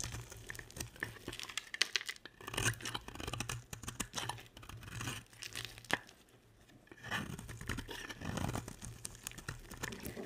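A box-cutter blade scrapes and carves chips off the surface of a solid, dry, hand-sized purple and pink bar of soap. Crisp, crunchy scraping and bright crackles come in irregular bursts, with a short quieter pause partway through.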